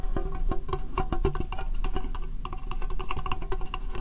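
An empty, hollow, rectangular clear plastic case is held over the microphone and tapped rapidly with long, dark-painted nails. The result is a steady run of quick, hollow clicks with a faint tonal ring and a heavy, close low end. Each tap dies away almost at once.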